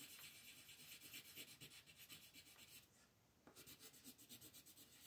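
A green colored pencil shades a thin printed paper coloring book page lying flat on a dark table, held down by fingertips with long painted nails, in short back-and-forth strokes. The strokes make a soft, bright, scratchy rasp in a steady rubbing rhythm. There is a brief pause near the middle before the shading resumes.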